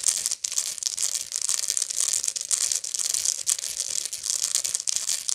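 A medium, hollow woven straw bag is held flat while long nails scratch its coiled woven base. The result is a continuous, bright, dry scratching with rapid crinkly strokes and almost no low end.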